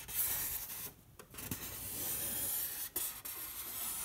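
A bare fingertip rubs and traces along a large flat white foam board, likely polystyrene, painted in red acrylic with a dog and the word MYSTICAL, lying on a table. The result is a steady, bright, hissy rubbing with little low end, broken by a few brief quiet gaps where the finger lifts or slows.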